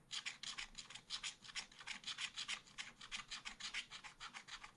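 A wooden stylus scratches rapid back-and-forth strokes across a small black-coated scratch art paper card to fill in an area. About thirty short, dry, bright rasping strokes follow one another in an uneven rhythm, with almost no low end and no ring between strokes.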